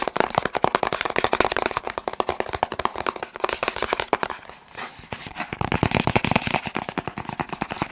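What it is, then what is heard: Cardboard box. A long, hollow, blue and white cardboard box is held in the hand and tapped rapidly with the fingertips. It produces a dense stream of short, dry, papery knocks with a hollow midrange tone and no ringing. The tapping eases briefly just before the five-second mark, then picks up again.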